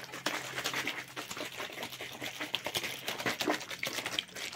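A clear, hollow plastic water bottle with a green label, held close, is tapped and scratched rapidly by fingertips and shaken. The result is a dense stream of quick, crisp plastic clicks and bright scratching with very short decay and a faint low hum underneath.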